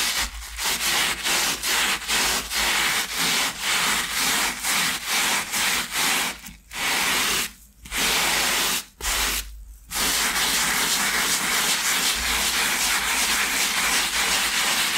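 A flat, thin, solid foam sneaker insole with a grey fabric top, lying on a towel beside a second untouched insole, is scrubbed back and forth through wet lather with a hand-held, wooden-handled bristle brush. Rapid, bright, hissing strokes pulse in a steady rhythm, broken by a few short pauses midway, then merge into a more continuous scrub to the end.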